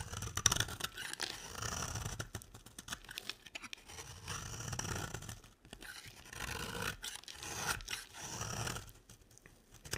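A utility knife blade scrapes fine shavings off the edge of a solid, beige, square bar of dry soap held in the hand. The result is a series of bright, rasping, crackly scrapes in short bursts with brief pauses between strokes.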